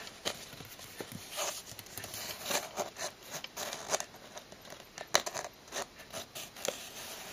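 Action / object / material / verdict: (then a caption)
tap / cardboard box tapped with fingernails / cardboard / none. Long blue-painted nails and fingertips tap on the hollow side wall of a closed brown cardboard shipping box with a strip of clear tape. About sixteen quick, dry clicks and light pats with a crinkly, papery edge fall in an uneven rhythm, each dying away almost at once over a faint hiss.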